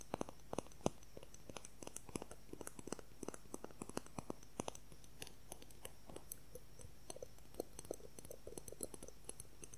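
A clear plastic ruler, held at angles and horizontally, is tapped and scratched with fingernails. Quick, dry clicks and taps scatter irregularly throughout, each with a short mid-range knock and a bright tick. They sit over a low, steady hum.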